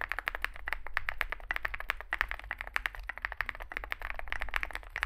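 Both hands type continuously with their fingertips on a compact 65% Zoom65 mechanical keyboard, which has an aluminium case, foam filling, lubed switches and SA plastic keycaps, resting on a desk mat. A rapid, steady stream of short, crisp clacks, each dying away almost instantly, centres around 1.8 kHz and carries bright upper edges. A faint low hum sits underneath throughout.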